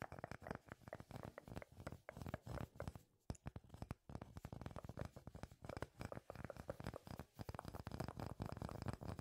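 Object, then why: Solid wooden slice. A solid, palm-sized flat round slice of natural wood with visible growth rings is held in both hands and tapped and scratched with fingertips and nails. Quick, soft, dull knocks and dry scratching come in a dense, uneven stream with short pauses. The sound is low-heavy, with almost no bright content, and each tap dies away almost instantly.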